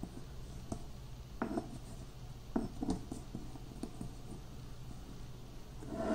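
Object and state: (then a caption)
Crushed peanuts ground in a granite mortar. Finely chopped peanut pieces are ground in a granite mortar with a granite pestle, one hand working in circular and pounding motions while the other holds the bowl. Quiet, gritty crunches and short scrapes against the stone stand out over a low, steady rumble, growing a little louder at the end.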